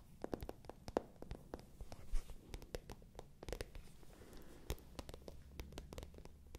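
Long nails scratch and tap the glossy surface of a small, hollow, pale pink patent leather clutch bag. Quiet, rapid clicks and taps, each with a short hollow knock, mix with soft scraping over a low rumble.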